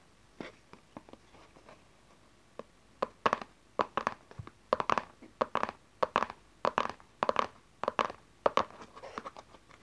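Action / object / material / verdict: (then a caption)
tap / small cardboard card box / cardboard / none. A small, closed, dark cardboard tarot card deck box lying on satin cloth is tapped and scratched on its cover with long nails and fingertips. A few soft, sparse taps come first. From about three seconds, crisp clicky taps with a hollow, papery tone around 580 Hz repeat quickly, mixed with short scratchy rasps.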